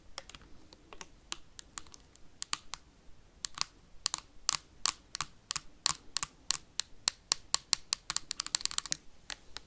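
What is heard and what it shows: A clear plastic hand sanitizer bottle, held sideways near the mic, is tapped quickly with metal paperclips worn on the fingertips. The sound is a string of sharp, bright clicks with almost no low end and no ring. The taps crowd closer together near the end.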